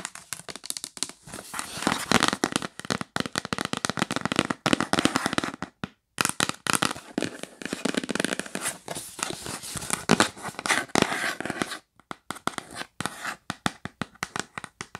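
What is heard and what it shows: Long nails tap fast on the lid of a yellow printed cardboard box, which is sometimes held and sometimes lying flat on a bed. The result is a dense run of dry, crackly clicks with almost no ring, bright and mid-heavy with little low end. The tapping pauses briefly around the 6 and 12 second marks.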